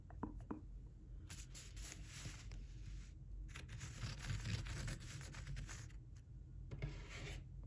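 Fingertips rub and stroke across a small flat stack of thin Daiso origami paper, about 15 cm square, with a blue diamond-embossed sheet on top, lying on a wooden table. Bursts of dry, bright, hissing scratches and swishes come and go over a steady low rumble, with a few short, sharper taps in between.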